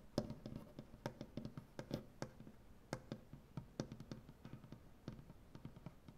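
One hand with dark painted fingernails scratches and taps across a large, solid wooden butcher-block tabletop. The result is a quick, uneven run of short, dry knocks and scratches with a low woody thump. Each sound dies away almost instantly over a faint scraping texture.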